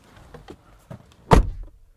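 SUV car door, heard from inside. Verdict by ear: Solid.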